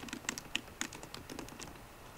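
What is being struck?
Aluminum laptop keyboard with plastic keys.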